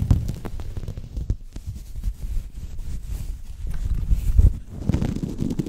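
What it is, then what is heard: Microfiber cloth rubbed on microphone. A purple synthetic microfiber cloth held around a microphone is rubbed and scrunched with both hands. The result is a deep, muffled rustling and rumbling with soft, irregular thumps. Almost all of the sound sits in the low end, with very little brightness.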